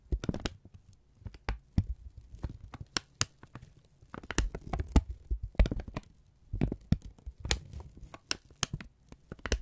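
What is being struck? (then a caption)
Thin kraft paper strip. A thin brown kraft paper strip is held in both hands and squeezed and folded with the fingertips. Quick crackling crinkles and snaps come in irregular bursts over a soft low rumble.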